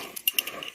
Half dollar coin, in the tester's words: You can hear that hollow sound.